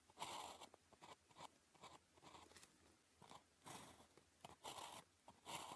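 A ballpoint pen held in the fingers scratches strokes across a flat sheet of thin paper with a red grid as it writes characters. Short, dry, bright scratching bursts come in quick irregular strokes with quiet gaps between them.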